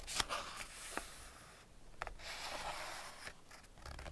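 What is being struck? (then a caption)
Hardback paper picture book. Fingertips rub and scratch the printed paper pages of an open Ladybird hardback picture book, "Man and His Car," and turn them. The result is quiet, bright, papery scratching and rustling broken by a few short, sharp ticks and soft page sweeps.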